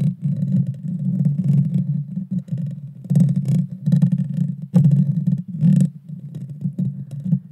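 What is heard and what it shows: Long dark fingernails of both hands scratch the hollow metal mesh grille of a Blue Yeti Nano microphone. The scratching comes through as a dense, rumbling low scraping centered around 180 Hz, swelling and fading in uneven bursts with occasional brighter crackles. It runs almost without pause for the whole clip.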